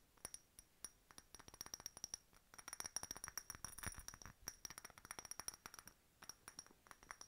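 A hollow, empty faceted clear glass decorative bottle with a bird stopper and key charm is tapped with long nails. The result is a quick, irregular run of dozens of short, bright glassy clicks and clinks, each with a high ringing tone that dies away almost instantly.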